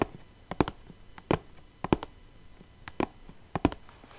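Long nails scratch and rub across the top of a small clear plastic box full of rhinestones. Short, dry plastic taps and clicks come in irregular pairs and clusters, separated by faint scratchy rubbing. Each tap stops almost instantly, with no ring.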